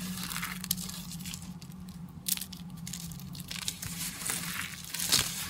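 Fingers and fingertips crunch and crumble a heap of thin, dry, brittle white soap flakes with blue bits. The result is a steady bright crackling and crinkling, broken by a few sharper crunches, over a constant low hum.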